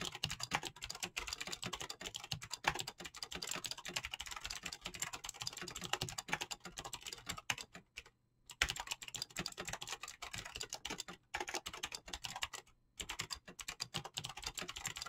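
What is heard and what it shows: Two hands type fast with their fingertips on a mechanical keyboard with clicky switches and PBT plastic keycaps. The result is a dense, steady stream of bright, sharp clicks with very little low end. The typing breaks off briefly around 8 and 13 seconds.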